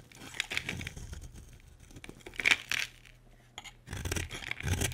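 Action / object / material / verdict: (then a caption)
scrape / soap bar cut with a metal blade / soap / none. A solid, dry, light pink bar of soap is held in the hand and carved with a metal utility blade. The blade makes bright, crisp scraping and cutting sounds in quick irregular strokes, with a low hum running underneath.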